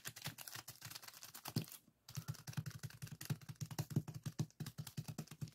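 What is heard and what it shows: Fingertips press and scratch a small clear plastic zip-lock bag full of purple sand granules resting on a table, and one hand briefly covers the bag. The result is a rapid run of crisp, gritty crackles and soft taps with a low thump under each, broken by a short near-silent pause around the two-second mark before the scratching picks up again.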